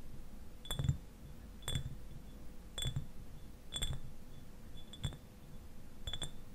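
Fingernails tap the glass sides of a clear, medium-size glass eyewash bottle standing upright and partly filled with liquid. Short, bright glassy clicks come in small clusters about once a second over a low background rumble, and each tap fades almost at once.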